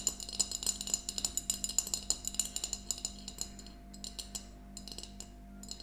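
A small, empty glass mason jar mug with a yellow plastic lid stands on a table, held between both hands and tapped with long nails. Quick, irregular, bright clicking taps with very short ring come in a dense run, then thin out and soften toward the end over a faint steady low hum.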